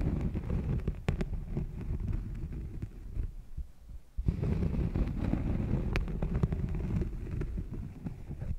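A thin, solid cork coaster resting on a furry mic windscreen is lightly scratched with long painted nails. This produces dense, deep, muffled rumbling and rapid low thumping with brief clicks. The sound drops away for a moment just before the four-second mark, then returns just as strongly.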